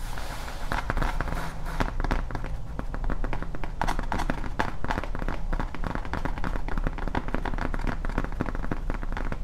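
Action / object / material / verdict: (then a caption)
tap / foam tombstone prop sign / foam / none. Long painted nails tap and scratch the textured surface and edge of a large, flat, solid grey foam Halloween tombstone sign prop held at an angle. The result is a dense, steady stream of quick, dry clicks and scrapes over a heavy low-end thump, with short crackly transients throughout.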